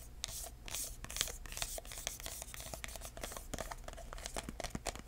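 Fingertips tap and scratch the lid and sides of a small, hollow, red embossed paper-covered cardboard box with metal corners. The result is a quiet, steady run of soft, dry taps mixed with bright, papery scratching and crinkling, each tap short with almost no ring.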